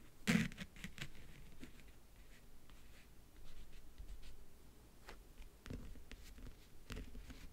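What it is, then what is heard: Leatherette-covered backgammon case. Fingertips and nails tap and scratch the top of a closed, hollow rectangular backgammon case about 40 cm wide, covered in map-print faux leather and lying on a bed. A sharp tap near the start is loudest, followed by quiet, dull taps and soft scratching with a low, muffled body and brief bright ticks. Each touch dies away almost at once.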